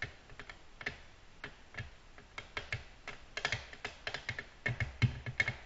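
Long natural nails tap on a flat, solid, glossy black glass tabletop. Many quick, sharp clicks fall in an uneven rhythm, each a bright tick with a faint low thud underneath. The taps die away almost instantly.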